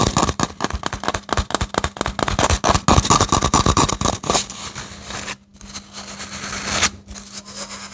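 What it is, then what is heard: Hollow cardboard tube. A hollow grey cardboard toilet-roll tube is squeezed, tapped and scratched with fingertips and short nails. For about four seconds, rapid, irregular taps and crackles come quickly one after another. Then the sound shifts to softer, hissy scratching with a brief gap, over a faint steady low hum.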